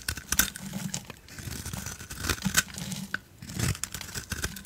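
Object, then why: Coated soap bar. A utility knife blade shaves the black glitter coating off a solid oval soap bar with a cream core, held on the palm, while other soap bars lie untouched nearby. The strokes give a dry, crackling scrape like tearing, bright and gritty, with soft low rumbles and a few sharper crisp snaps along the way.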